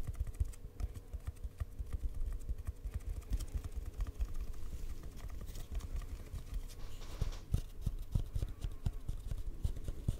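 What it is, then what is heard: Hollow cardboard tube. An empty, hollow brown cardboard tube, held at an angle near the mic, is tapped with fingertips and short nails. It makes a fast, steady stream of soft, dull, hollow taps, mostly low and muffled, with faint brighter clicks from the nails. The taps stop quickly, with almost no ring.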